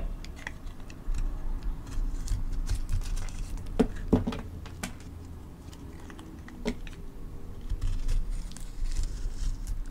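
A palm-sized, rectangular solid soap bar with a white core and colorful crayon chunks on its outer layer is held in one hand and cut and scraped into thin slices with a metal blade held in the other. The result is a steady run of soft, low scraping and crunching with quick, dry, sharper snaps that stand out near the middle of the clip.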